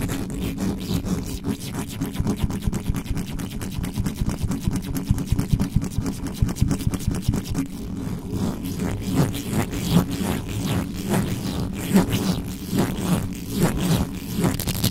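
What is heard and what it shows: Fingers and nails scratch fast across the metal mesh head of a black condenser microphone, giving a dense, rapid scraping with a steady low rumble. Close-packed strokes run throughout with short clicks and brief bright flicks, and the sound stays mostly deep and dry.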